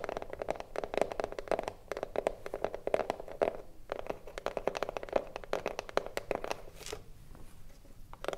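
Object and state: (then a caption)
Hollow wooden cigar box. Long nails tap rapidly on the front panel of a hollow wooden cigarillo box standing upright. The result is a steady run of quick, dry clicks with a hollow, woody resonance around 550 Hz. A brief pause comes partway through before the tapping continues.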